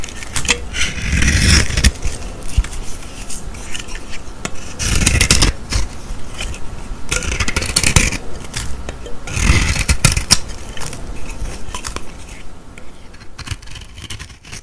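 A metal blade scrapes and carves the black painted top off a solid rectangular white bar of soap held in the hand, shaving the black layer away in flakes. Rough, crackling scrapes come in several louder bursts with quieter rasping between them, bright and gritty on top with a soft low rumble beneath, fading toward the end.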